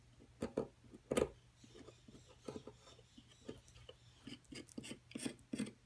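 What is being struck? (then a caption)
Plaster block. A wooden-handled metal chisel chips and scrapes at a solid plaster excavation block, making around eleven short, dry, gritty taps and scratches. The taps are quiet and centred in the low-mid range, with a faint steady low hum beneath. Each tap dies away almost instantly, leaving no ring.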